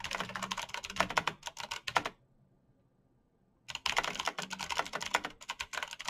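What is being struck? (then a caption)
Plastic mechanical keyboard. Bare fingertips type rapidly on the keycaps of a black plastic mechanical keyboard with clicky switches, making a dense stream of sharp, bright clicks. The typing pauses into near silence for about a second and a half in the middle, then resumes at the same fast pace until the end.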